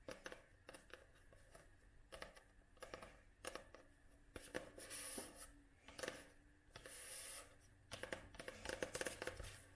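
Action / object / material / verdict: tap / paperback book, paper / paper / none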